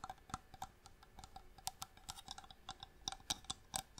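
Long nails tap a small, hollow wooden box with striped marquetry inlay, held in both hands. The result is a quick, uneven run of quiet, bright clicky taps with a faint woody tone around 770 Hz, each dying away almost instantly.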